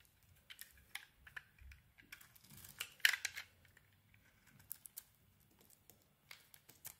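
A utility blade carves curled shavings from a solid pink bar of soap, and the shavings pile up beside it. Quiet, crisp, bright scraping and crackling come in short bursts, with the loudest cut near the middle.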